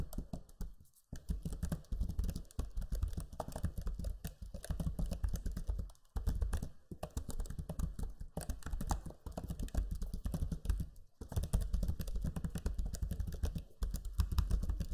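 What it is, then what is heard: Plastic laptop keyboard. Fingertips type steadily on the low-profile plastic keys of a backlit black Lenovo Legion 5 laptop keyboard. The result is a dense run of soft, muffled clicks and taps, heavy in low thuds, broken by a few brief pauses.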